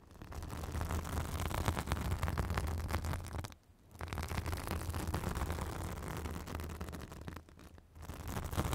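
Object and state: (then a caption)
Synthetic bath sponge. A white fibrous synthetic bath sponge held on a microphone is scratched with long acrylic nails. The result is a dense, continuous scratchy rustle with a heavy low rumble, broken by two brief pauses partway through and near the end.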